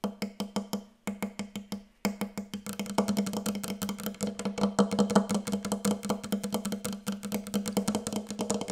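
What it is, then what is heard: Wooden table. Very fast, aggressive tapping on a wooden table produces dense, dry knocks with a woody tone centered around 200 Hz. The first two seconds hold short bursts of taps with brief pauses between them. From about three seconds on, the tapping becomes a continuous rapid flurry.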